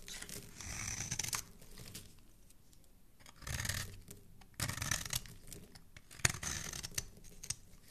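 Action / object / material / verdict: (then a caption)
scrape / solid soap bar scraped with a metal blade / soap / none. A metal blade scrapes and carves a hand-sized solid soap bar, gray outside and red inside, held in the hand beside a second, untouched soap bar. Bursts of bright, dry, crinkly scraping, like tearing, come and go with quiet gaps between strokes. The carving leaves a pile of red shavings.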